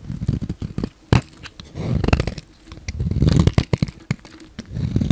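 A solid pink bar of soap, held in the hand, is shaved with a utility knife blade as flakes pile up. Quick, dry scraping strokes and sharp little snaps come in uneven bursts, with a soft, low-heavy body and short, dead endings. Longer rasping passes alternate with clusters of rapid clicks.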